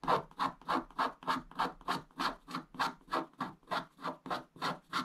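A wooden stick scratches the black wax coating away from a flat scratch-art paper page, exposing the blue foil beneath. A steady run of short, dry, rasping strokes repeats at a brisk pace, each a soft scratch centred around 1 kHz with a faint high hiss and almost no low end.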